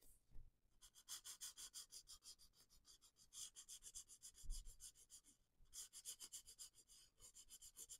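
A felt-tip marker is rubbed in short strokes over a flat paper page of a spiral coloring book lying on a wooden table, while the other hand holds the page. The result is a quiet, rapid, rhythmic series of bright, scratchy swishes with a high hiss, interrupted by brief pauses and a couple of soft low thumps.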